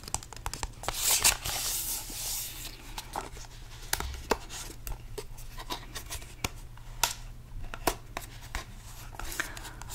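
A small, hollow purple cardboard box holding cards is held in the hands while fingertips tap and rub its sides. Many short, dry, bright taps sound over a soft, papery scratching rustle, with a louder rubbing burst early on and a faint, steady low hum underneath.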